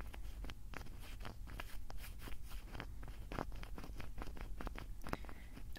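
Fingertips twist and flick the small cap of a small, hollow, blue translucent plastic hair-product bottle. A rapid, irregular series of short, sharp clicks and ticks plays over a steady low rumble, each snap dying away almost instantly.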